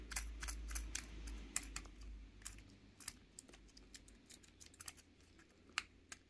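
A small pink solid plastic fidget cube is held in one hand while fingertips and a thumbnail press and flick its clicking buttons and switches. The result is a quick, uneven run of sharp, dry, bright clicks that stop instantly, over a low rumble that fades out after the first couple of seconds.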